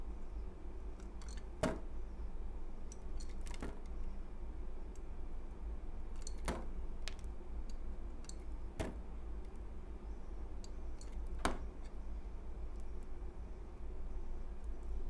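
A utility knife blade slices and scrapes a thin carved piece of a solid cream soap bar held in the palm. Sharp, bright crackling cuts and faint scraping ticks stand out sparsely over a steady low hum.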